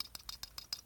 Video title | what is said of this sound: GAW + Spinetic Y+ | there's just a little bit too much play in here that allows it to do that